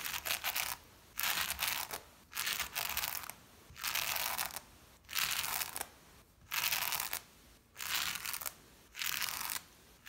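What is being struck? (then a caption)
Shag pile fabric rug brushed with a small lint brush. A small blue-handled lint brush or scrubber pad, pressed by a finger on its handle, is pushed and rubbed across a brown and black patterned shag pile rug. Repeated scratchy, bright brushing strokes of about a second each are separated by short quiet gaps, with very little low end.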